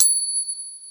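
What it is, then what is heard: Silver coin ping. A silver coin is pinged in a ping tester, giving a bright, bell-like ring. Sustained high tones follow a short strike and fade over about a second. The coin rings as expected for a silver test.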